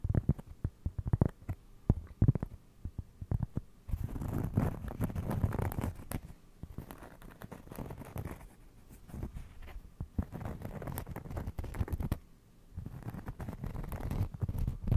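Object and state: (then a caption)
Cork trivet. A round cork trivet held beside the mic is scratched with fingernails, giving soft, dull, low scratching and rustling. Sharp bursts at the start give way to longer stretches of continuous muffled scraping with brief pauses between them.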